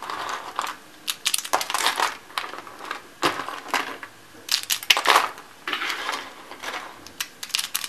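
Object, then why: Shaved soap curls. Cream-white dry soap shaved into small rolled curls and flakes on a white wooden table is pressed flat with the palms, then crushed and crumbled with dark-nailed fingertips. Bursts of crisp, bright crunching and crackling come and go in quick clusters, with short dry snaps and almost no low end.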